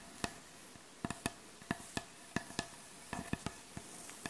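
Long acrylic nail tips tap and scratch on the surface of a solid, light wooden butcher block board. Eleven short, dry taps with bright clicky tops die away almost instantly over a faint, steady scratchy hiss.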